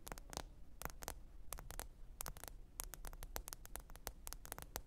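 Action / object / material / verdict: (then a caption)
tap / smartphone glass screen / glass / none. Long pointed nails tap the glass screen of a small, thin, black smartphone lying flat and screen-up on faux fur. A rapid, uneven run of sharp, dry clicks with bright high edges and almost no ring plays over a quiet, steady low hum and faint static.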